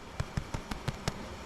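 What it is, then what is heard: Underbaked soda bread roll, not yet hollow. Seven soft, dull thuds come from tapping the bottoms of soda bread rolls taken from the top rack. Each knock is low and short with almost no ring, so the rolls do not yet sound hollow and are slightly underbaked.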